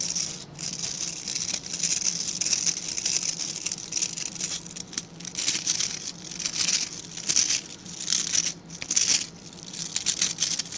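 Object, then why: Stiff bristle brush. Fingertips scratch and flick across the dense, stiff bristles of a small dark-grey rectangular brush held in both hands. The result is a continuous bright, crackly rasping with surging bursts, sitting mostly in the high range with a faint low hum underneath.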